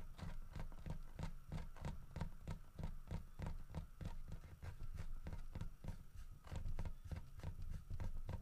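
Fingertips and nails of both hands tap rapidly along the sides of a solid carved wooden bear head holding a wooden fish. The taps land as dull, low, hollow knocks that die away almost at once, with a faint steady tone hanging in the background.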